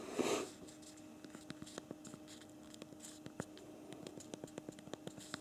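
Two thumbs type on the backlit physical plastic keyboard of a BlackBerry Priv smartphone, producing a rapid run of small, sharp key clicks. A brief louder rustle opens the clip, then the clicks continue over a faint steady low hum.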